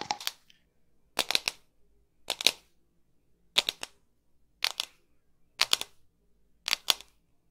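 A hand-sized hollow hard plastic ball, printed white with black patches like a soccer ball, is held close to the mic and tapped with long pink nails. Seven quick bursts of two or three sharp, bright clicks each, with silence between the bursts. The clicks are high and dry, with no low end and almost no ring.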